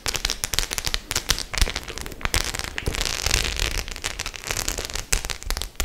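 Long nails scratch and tap across the studs of a hollow white studded faux-leather clutch bag. The result is a steady stream of sharp, bright clicks and crackly scratching, punctuated by occasional louder taps with a dull low thump.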